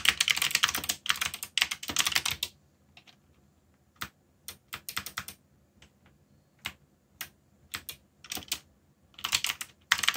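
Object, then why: Mechanical keyboard with plastic keycaps. Fingertips type on a backlit mechanical keyboard with plastic keycaps, producing bright, crisp clacking in dense bursts at the start and end with scattered single keystrokes and short runs in between. Each click is sharp and short, with almost no low end.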